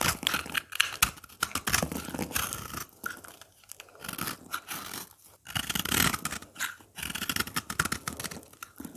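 A craft blade cuts and scrapes powdery, crumbly chunks from a dry, solid green oval soap bar held in the hand. The result is a continuous run of dry, bright crunching and scraping strokes with brief pauses.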